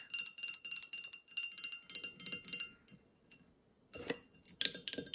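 Fingernails tap a full glass bottle of Santa Cruz lemonade with a green cap, standing among groceries, striking both the glass and the cap. The result is a rapid series of short, bright clinking glass taps with almost no ring. There is a brief quiet pause before a final flurry of taps.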